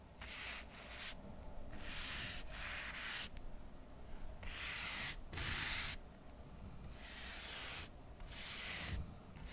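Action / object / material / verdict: scrape / stack of cork coasters / cork / none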